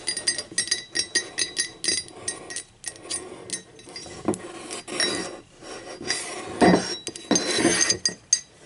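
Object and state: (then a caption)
Ceramic mug tapped with fingernails. Long acrylic nails tap the body and rim of a hollow, empty, speckled teal ceramic mug lying on its side. Quick, bright clinks ring only briefly, and the taps run in fast clusters that give way to denser, noisier bursts in the second half.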